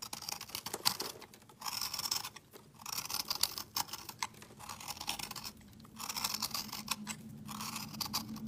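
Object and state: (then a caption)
Soap bar scraped with a blade. A utility knife blade scrapes a solid, hand-sized, speckled multicolored soap bar, shaving off crumbly, powdery flakes. Bursts of dry, bright scratching, rich in high frequencies and interspersed with quick crisp ticks, come in uneven strokes separated by brief quieter pauses.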